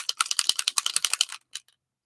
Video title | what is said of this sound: LAYOUT FUN WITH "SUNKISSED" BY COCOA VANILLA | that ball you hear is helps to release that pigment